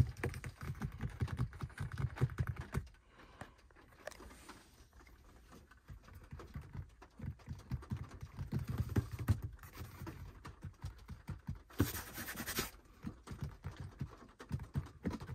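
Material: Leather.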